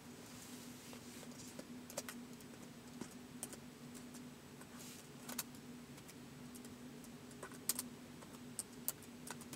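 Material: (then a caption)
Plastic. Fingertips slowly type on the plastic keys of a white polycarbonate laptop keyboard, whose keys sit on a hollow body. The keys give soft, scattered taps with short, bright clicks that die away almost at once. A steady low hum runs underneath throughout.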